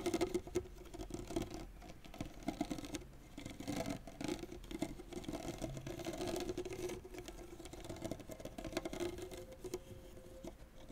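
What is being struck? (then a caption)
Tennis racket string bed, synthetic strings. Fingernails of the left hand scratch and rake quickly and continuously across the synthetic string bed of a tennis racket whose head lies flat. The result is a quiet, dense patter of scratchy strokes with a faint low tonal ring from the strings running beneath it throughout.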